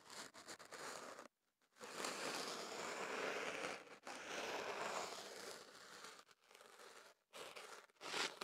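Kenaf paper wrapped around a microphone, held on a table, is scratched and rubbed from inside its end with a thin pick held in the fingertips. The result is close, crunchy crinkling and rustling with bright, papery texture. Long scraping stretches are broken by brief silent gaps.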